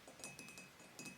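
Several soft, quick taps land in a loose rhythm, each a short bright click with little ring. It is the sound of hard nails on glazed ceramic: crisp surface ticks rather than a full tone. The background is quiet.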